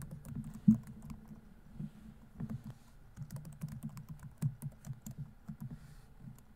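Single fingertips tap the keys of a silver plastic laptop keyboard in an irregular typing rhythm. The keystrokes are soft, muted low clicks that die away almost at once, with one noticeably louder tap near the start and occasional faint bright ticks.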